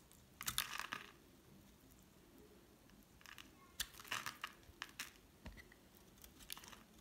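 A solid oval pink hard soap bar, held in hand, is scraped and shaved with a metal utility blade, producing brittle flakes. Bright, crisp crunching and crinkling scrapes come in short bursts separated by quiet pauses, with little low-end weight.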